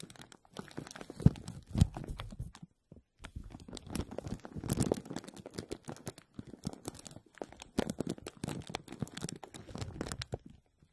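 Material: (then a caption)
Plastic. Fingertips and short nails press, rub and scratch a clear plastic bag stretched over a hollow wire-mesh metal strainer dome. The result is dense, irregular crinkling and crackling with sharp little snaps and a brief pause near the start.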